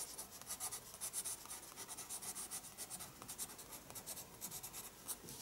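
A pencil scratches quick lines across a spiral-bound paper sketchbook page while drawing an eye. It makes a steady run of quiet, bright, dry scratching strokes that rise and fall in short bursts with almost no low end.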